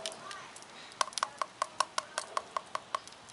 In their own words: Just to show you how crispy the skin is. You hear that?